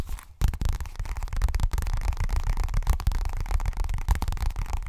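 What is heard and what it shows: A hollow pink leopard-print zippered fabric cosmetic pouch, probably coated fabric, is held in both hands and rapidly tapped and scratched with fingernails. The result is a dense, continuous stream of soft, dull, low thumps and rustling scrapes with almost no ring after each tap.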